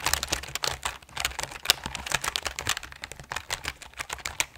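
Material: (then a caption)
Plastic. A full-size RGB mechanical keyboard with plastic keycaps on a grey aluminum plate is held upright while both hands tap and press the keys with fingertips in typing runs. Rapid, bright, clacky keystrokes come in uneven bursts, each sharp and short with almost no ring and little low-end weight.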